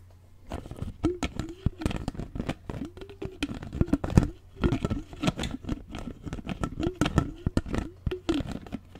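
Fingers tap and handle the lid and sides of a clear plastic water bottle with a straw, held upright close in. It makes a dense run of quick, dull, low-heavy taps and clicks with short rising-and-falling hollow tones between them.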